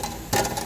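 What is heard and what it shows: A loose metal part under the rear of a minivan is moved by hand and gives off a quick series of light metallic rattles, about four close together. This is the abnormal rattling noise being hunted for under the vehicle.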